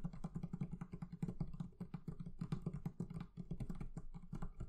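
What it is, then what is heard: Leather covering on a barrel chest. The leather covering of a barrel chest is tapped rapidly and steadily with many light taps. Each one gives a short, dull, low thud with almost no ring. The result is a soft, muffled patter with a low hum-like body and no bright edge.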